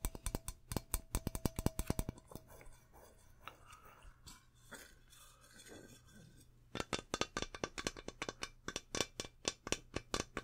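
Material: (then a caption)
Metal. Fingertips and nails tap and scratch along the body of a medium, hollow metal aerosol deodorant can with a plastic cap and a printed label, held in both hands, perhaps with some shaking. Quick, bright, dry taps come first, then give way to softer scratching and rubbing over a low, steady hum, before the rapid tapping starts again.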